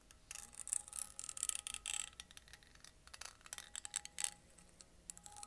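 A small, empty, clear glass mason jar with a metal screw lid is held close to the microphone and tapped with painted fingernails. The result is quiet, rapid, irregular clicks and taps that are bright and high-pitched, with very little low end. Each tap dies away almost instantly, and some bursts cluster together in flurries.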